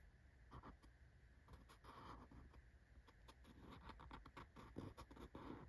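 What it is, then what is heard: Cardboard shipping box. An index fingertip and nail scratch and tap over the logo on the top surface of a small, closed corrugated cardboard shipping box that is held up. Quiet, dry scratching is broken by soft, quick-decaying taps, with a low, dull body and little high-end brightness.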